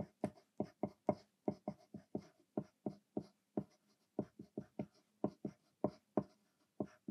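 A thick 2mm graphite lead in a green mechanical pencil scratches across a thin white paper sheet lying flat on a desk during continuous writing. About twenty quiet, short, dry strokes are heard in quick, uneven succession, each a sharp scratchy tick with a bright edge and an almost instant fade.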